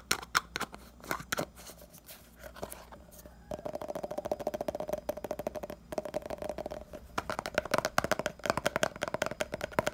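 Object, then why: Small plastic pomade jar. A small round red 70 g hair pomade jar with a printed lid, likely plastic, is held in one hand while fingertips and nails tap quickly on the lid and rim. Dense, rapid clicky taps with bright transients and a hollow mid-range ring around 720 Hz build to a fast, continuous patter in the second half.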